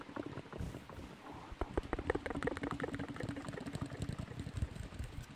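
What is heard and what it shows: A long, hollow, empty cardboard tube is held in both hands in front of a microphone while long nails scratch and tap along its length. Quick, irregular dry taps and scratchy rustles carry a dull, hollow low resonance with a faint mid-pitched tone. Each tap dies away almost instantly.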